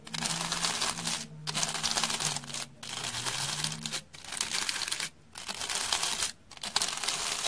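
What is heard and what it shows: A round hair brush with stiff dark bristles is scratched along the faces and edge of a solid, porous, beige rectangular slab of dry floral foam held in the hand. Six long, bright, dense scratching strokes are heard, each separated by a brief pause, with a faint low hum under the first half.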